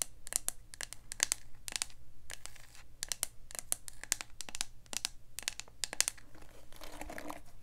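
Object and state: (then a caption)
Plastic paddle hairbrush tapped and scratched with nails. A hand-sized black plastic paddle hairbrush with a hollow body is held close while long acrylic nails scratch and tap its smooth plastic back. Quick, bright clicks and crackly scratching come in dense clusters over a faint low hum.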